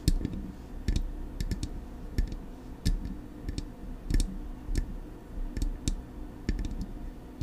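Long acrylic nails tap the metal body of a silver Blue Yeti microphone, on the front with its knobs. Sharp, bright clicks come in an uneven, repeated rhythm, each with a brief ring over a steady low rumble.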